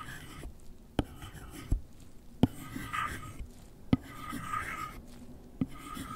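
A gloved hand scratches and taps the lid of a closed, long, flat white cardboard product box, hollow and apparently empty, lying on a fluffy rug, using the plastic tip of an Apple Pencil. Soft, papery scratching runs throughout, broken by several sharp, dry taps that stop instantly with almost no ring.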